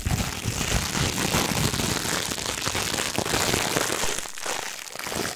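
A thin, crumpled, iridescent holographic plastic packaging sheet is held in both hands and crinkled and squeezed with the fingertips close to the microphone. A dense, steady crackle of sharp crinkles runs throughout, with bright hiss on top and soft low rustles, easing briefly near the end before picking up again.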